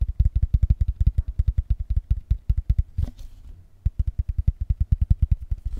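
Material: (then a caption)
Cardboard. A hollow, rectangular cardboard box covered in patterned blue paper is held in both hands and tapped fast with the fingertips and nails. About 41 dull, deep, rapid thuds are heard, broken by a short pause near the middle with a faint brushing rustle before the quick tapping resumes.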